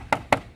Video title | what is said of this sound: Cek Kualitas Body Honda PCX160 - #tmcblog | bagian daerah yang agak kopong dia kencang mungkin agak kopong dalam Nya sehingga di kenceng